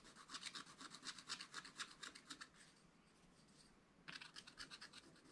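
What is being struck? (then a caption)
Wax-coated scratch-art paper page scraped with a wooden stylus. A wooden stylus rubs back and forth over a black-coated scratch-art page in a spiral-bound book, clearing the coating with quick, dry, bright scratching strokes. The rhythmic scraping stops for about a second and a half of near-silence, then resumes with a few more strokes.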